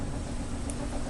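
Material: Nothing is struck.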